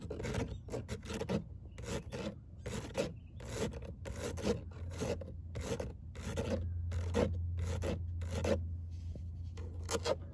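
Long nails scratch across a perforated metal car door speaker grille, a fine hexagonal mesh over a hollow cavity, with a claw-like hand. Repeated rasping strokes come in an uneven rhythm, each a bright, gritty scrape over a low hollow hum.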